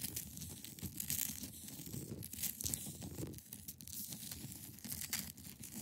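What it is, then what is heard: Ice block being scratched. Long pointed nails scratch across the top of a large, solid, clear ice block resting on a fabric surface. The result is a quiet, steady, dry rasping with bright, hissy strokes over a soft low rumble. The scratching runs continuously, with no distinct separate hits.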